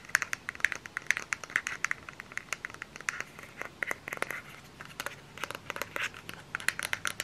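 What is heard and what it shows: Long fingernails scratch and tap on the body and cap of a small plastic lotion bottle. The result is a quick, uneven series of sharp, dry clicks and crinkly scratches with a bright, hissy top, a midrange peak around 1.6 kHz, almost no low end, and no ring after each tap.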